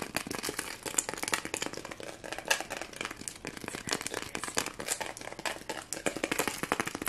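Fingernails and fingertips scratch and rub the sequins on a small round white foam Christmas ornament ball with red and green sequin stripes, held in both hands. The result is a dense, fast stream of bright, crinkly clicks and rasps with very little low end.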